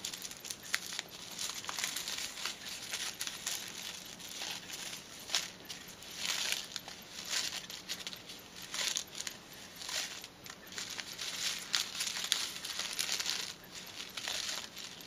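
A small white paper silica gel sachet is held between both hands while fingers with long teal nails squeeze, fold and crinkle it. The result is a steady stream of dry, bright crinkling and crackling with many quick papery snaps and almost no low end.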